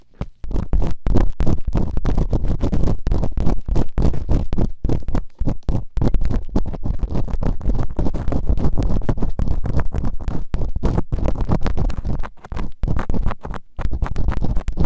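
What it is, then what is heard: Silicone ear microphone being scraped. Bamboo earpicks held in fingertips with long nails scratch and rub quickly inside the open canals of both solid, rubbery silicone ears on a white binaural microphone. The result is a dense, muffled, low-heavy stream of rapid scratching and rubbing bursts with only brief gaps, and almost no bright content.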